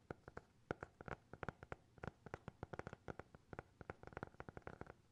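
A small, closed, solid black hardcover notebook with a TikTok logo, held close to the mics, is tapped and scratched with fingertips and nails. About 29 quick, dry taps land in an irregular rhythm, each with a soft low thump and a muted papery knock that dies away almost instantly. It stays quiet and close, with little high brightness.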